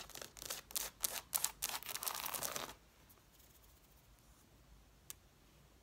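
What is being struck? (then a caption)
Stack of hardcover book page edges. Long nails rapidly scratch the paper page edges and covers of an angled stack of red hardcover books, making bright, dry, rasping bursts for nearly three seconds. The scratching then stops, leaving near silence broken by one faint, sharp tick near the end.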